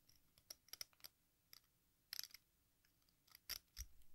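A metal exacto knife scrapes the red face and green rind edge of a hand-sized, solid, watermelon-slice-shaped sidewalk chalk, shaving off powder. It is heard as quiet, short, bright scratchy clicks and scrapes in scattered bursts, with a denser cluster near the middle and a small dull thump near the end.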